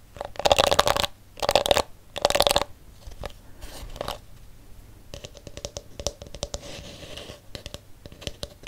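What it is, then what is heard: Plastic detangling hairbrush. A palm-sized plastic detangling brush with pink plastic bristles and a hollow blue plastic back is handled up close. Three loud, bright bursts of fingers scratching across the bristles come first, then quieter sparse clicks. After that, a quick run of sharp nail taps on the hollow back gives a light, resonant tick around 570 Hz.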